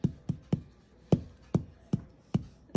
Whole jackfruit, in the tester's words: sounds like it's hollow inside